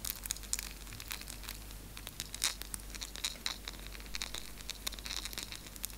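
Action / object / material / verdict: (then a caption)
scrape / piece of dark chocolate / chocolate / none. Long nails scratch and pick at the edges of a small, solid piece of dark chocolate held up between both hands, while other chocolate pieces rest untouched on the table. The result is a rapid run of crisp, bright scratching and ticking sounds, with sharp clicks over a faint low hum.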